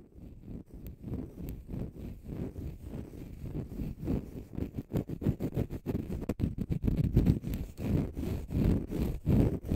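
A small, flat, oval green konjac sponge, soft, porous and solid, is held in both hands in front of the mic and scratched with fingernails. It makes a dense run of quick, uneven, low rumbling scratch strokes with little high content. The strokes grow gradually louder across the clip.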